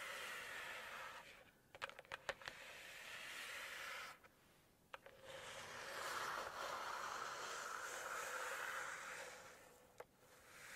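Long pointed acrylic nails tap and scratch across the thick, cream calligraphy page of a large hardcover paper cookbook lying open. A quick cluster of sharp, dry taps comes early, with single taps later, between soft, airy scratching swells that brighten and fade across the page.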